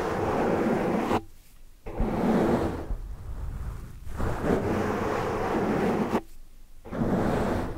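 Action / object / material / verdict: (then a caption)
scrape / foam microphone windscreen / foam / none. Long dark nails scratch and rub the surface of a large black foam windscreen over a microphone while hands cup it. The result is a dense, muffled, rumbling rustle focused in the lows and mids. It breaks off into near-silence twice before starting again.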